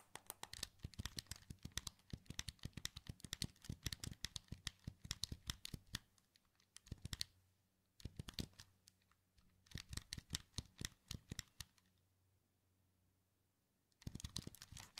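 A hand-sized, hollow, black plastic wired PS2 controller is held in both hands while fingertips and thumbs press and click its plastic buttons and move its rubber-topped thumbsticks. Dense bursts of quick, dry, bright clicks and taps come in several runs, broken by short quiet gaps. A low hum sits underneath.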